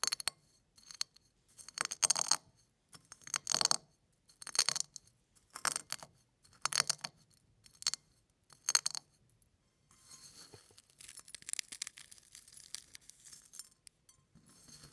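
Fingertips press down on a pile of crushed eggshell flakes on a plate, producing a series of short, bright, crackling crunches separated by brief pauses. In the last few seconds the pressing gives way to softer, continuous crinkling and rustling as some of the pieces are picked up.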